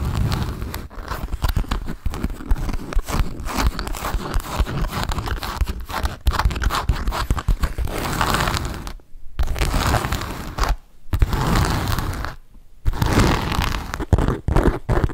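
An MK black perforated leather satchel with silver studs and a handle, hollow and held in both hands, is tapped and scratched with fingertips and nails. Dense, rapid dull taps mix with crinkly, rustling scrapes, heavy in the low end, with brief quiet gaps near 9, 11 and 12.5 seconds.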